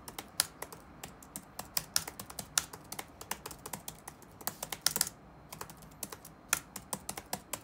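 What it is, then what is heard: Plastic laptop keyboard being typed on. Fingertips of both hands rapidly tap the keys of a dark plastic chiclet laptop keyboard resting on a wooden desk. The result is a steady stream of short, dry, bright clicks with almost no ring, bunching into a quick flurry near the middle before a brief pause and a return to the typing rhythm.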